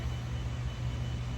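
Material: Nothing is struck.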